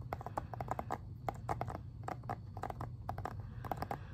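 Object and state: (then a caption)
Plastic game case tapped with fingernails. Fingernails tap on the back cover of a plastic Xbox 360 game case in a quick, irregular series of light clicks. Each tap is short and dry, with a hollow plastic knock around 770 Hz, over a steady low rumble.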